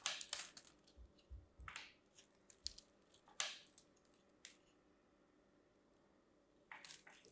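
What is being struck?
Bar of soap cut with a knife.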